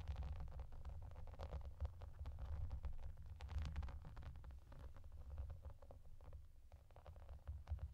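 Fingertips with long nails tap and scratch across a clear, translucent plastic bubble bathmat with raised bubbles and yellow duck shapes. The result is a quiet, steady stream of quick, dry plastic clicks and soft scrapes over a low, muffled rumble.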